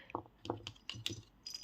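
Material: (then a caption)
Yarn. A handmade crocheted yarn rattle toy with a rattling insert is shaken, giving a series of short, dry rattling bursts with a bright, jangly top and little ring. The toy sounds as it should.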